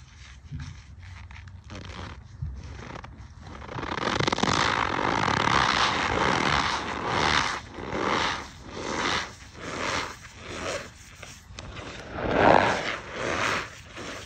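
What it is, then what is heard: Cornstarch clump being crushed. A packed ball of white cornstarch powder, solid compacted powder, is squeezed and crushed by a bare hand over a tray of loose cornstarch. Fingertips press it into a crumbling clump. After a quieter start, the squeezing gives a steady run of squeaky, crunching bursts that swell and fade in irregular pulses.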